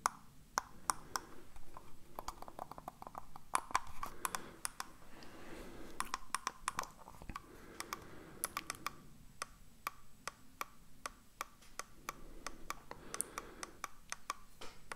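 A hollow black plastic computer mouse is held in the hands while its buttons are clicked with the fingertips. Sharp, very short, bright clicks come at an irregular pace over a low, soft rustle of handling. Each click dies away almost instantly.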